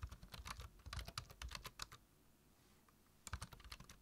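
Fingertips type on the keys of a black plastic low-profile computer keyboard. A rapid, uneven run of short, crisp clicks with soft low thuds stops for about a second, then picks up again with a few more quick taps.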